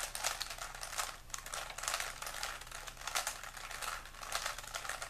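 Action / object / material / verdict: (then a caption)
scrape / plastic puzzle cube / plastic / none. A small solid plastic 3x3 Rubik's cube with colored stickers is twisted quickly in both hands, its layers turned by fingertips. The result is a steady run of rapid, bright clicking and clacking. Faint low hum sits underneath.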